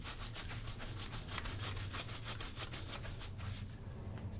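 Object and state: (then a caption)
Leather work boot being brushed. A wooden-backed bristle shoe brush is swept back and forth over the toe and vamp of a brown leather lace-up work boot, hollow and worn on the foot. The rapid, steady rubbing strokes give a bright, papery scratch over a constant low hum. The brushing fades out near the end.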